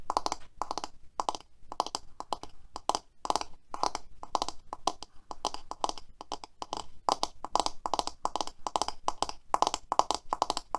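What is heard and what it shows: Long manicured nails tap and scratch the back and black bristles of a hand-sized black plastic paddle hairbrush lying on a white table. The result is a rapid run of dry, clicky taps and scratchy bursts centered in the midrange, each one short with no ring.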